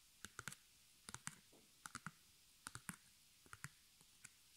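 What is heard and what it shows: Long nails tap and scratch the front and edges of a small white stretched canvas on a hollow wooden frame, held up in the hands. Quick, dry, bright clicks with a faint low thud arrive in small clusters and die away almost instantly. A soft brushing scratch passes between them.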